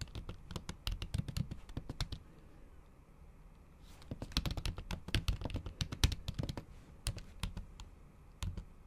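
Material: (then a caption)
Plastic. Long acrylic nail tips type in fast, repeated taps on a MacBook keyboard with solid keys under a thin, pink patterned plastic/silicone cover. Dense bursts of short, dull, thuddy clicks with bright nail ticks come in two runs separated by a quiet pause of about a second and a half, then trail off into a few scattered taps.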